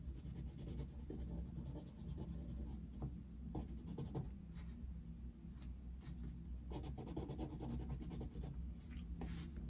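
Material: Paper.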